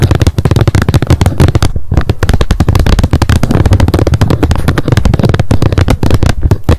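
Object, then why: Plastic lid of a wet wipes pack. Long nails tap rapidly on the hard plastic lid of a wet wipes pack lying flat on a mat. The result is a fast, continuous stream of short, dry clicks with a deep, hollow thump and very little ring.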